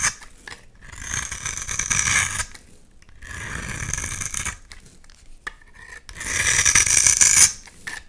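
A utility knife blade scrapes and cuts layers off a hand-sized, solid purple and white striped bar of soap. Three separate scraping passes produce a dry, bright, hissing rasp with short, quiet gaps between them.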